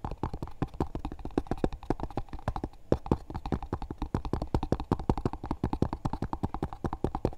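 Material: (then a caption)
Cardboard. Fingertips and nails tap fast on the flat lid and edge of a small, hollow, dark grey textured cardboard box with a JCB label. A rapid, steady run of short, dry, hollow knocks follows. The taps have a low, boxy thump and a dull midrange tone, and each dies away almost at once.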